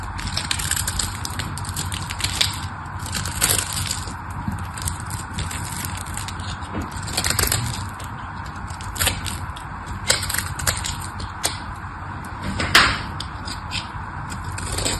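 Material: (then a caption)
Soap. A craft knife carves a solid pink bar of dry soap, and crunchy chunks break off. Steady crackling scrapes are punctuated by sharp, bright cracks and clicks throughout, over a constant low rumble.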